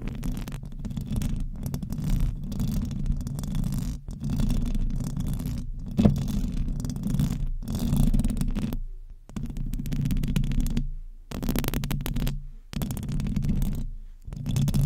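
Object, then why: Metal mesh microphone grille. Long acrylic nails on both hands scratch the hollow metal mesh grille of a silver condenser microphone, producing a dense, low, rumbling scrape with most of its energy below 200 Hz. The scratching comes in sustained bursts separated by brief silent pauses near 9, 11, 12.5 and 14 seconds.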